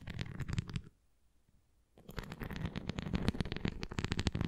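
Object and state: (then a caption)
Plastic flying ring toy. Long nails scratch and tap the rim and surface of a red translucent plastic flying ring toy with nubs, held tilted flat. Quick clicking taps and scrapes come in a dense burst, stop for about a second of near silence, then resume more steadily to the end.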